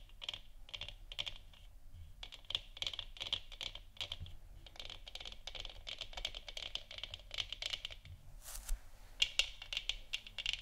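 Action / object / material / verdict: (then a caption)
tap / 3D-printed plastic moon lamp sphere / plastic / none. Long nails tap rapidly across the top and sides of a large, hollow, 3D-printed plastic moon lamp sphere lit orange. The result is a dense stream of quiet, bright, clicky taps, with a short scratchy burst near the end before the tapping resumes.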